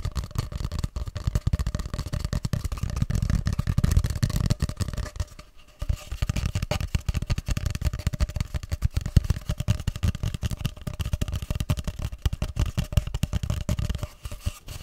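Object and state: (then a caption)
Cardboard tube, hollow. A long, hollow grey cardboard tube is held horizontally and tapped with fingertips, then held upright and scratched with fingers. Dense, dull, low thumps around 86 Hz pulse rapidly with almost no ring, pausing briefly near the middle before the softer rustling taps resume.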